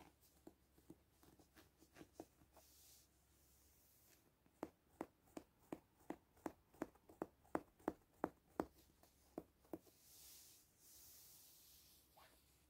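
Fingertips and short nails scratch the back of a medium soft stuffed stegosaurus toy made of green velour fabric with embroidered spots, lying on a printed quilt. Light, irregular scratching gives way to a run of about fifteen crisp, dry strokes. The clip ends with quieter, breathy brushing over the soft fabric.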